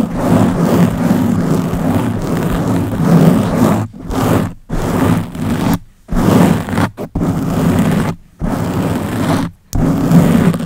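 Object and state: Foam microphone windscreen being scratched.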